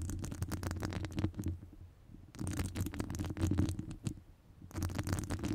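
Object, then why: Metal wire-mesh microphone grille. Long nails scratch a hollow metal wire-mesh microphone grille, making dense, rapid scraping clicks over a deep, boomy rumble. The scratching comes in three bursts separated by quieter lulls.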